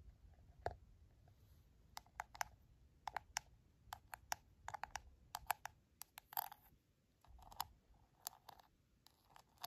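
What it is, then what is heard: Plastic container lid tapped and scratched. Long black nails tap and scratch the lid of a round, clear plastic airtight food storage container with a teal seal and latches, holding coffee grounds. An irregular run of short, dry, sharp clicks rings briefly around 800 Hz, with softer scratching in between.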